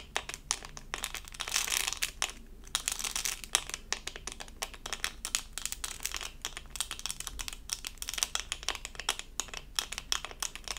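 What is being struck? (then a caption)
Resin rhinestone sticker on plastic backing. A small, flat, doll-shaped diamond-painting sticker covered in resin rhinestones on a thin, solid plastic backing is held in both hands and scratched with long acrylic nails. The result is a dense, bright, crinkly stream of quick clicking scratches with brief, louder bursts and very little low end.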